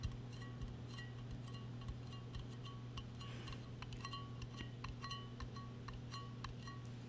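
A large hollow purple metal tumbler, held in both hands, is tapped and clinked with long painted acrylic nails. This produces a quick series of bright, short metallic tings with a faint pitched ring around 1 and 2 kHz. Underneath runs a steady low hum.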